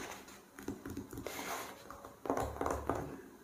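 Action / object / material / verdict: tap / open glossy paper magazine on a fabric surface / glossy paper / none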